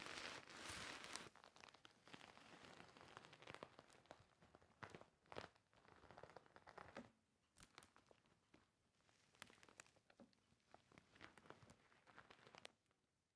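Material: Plastic sequins.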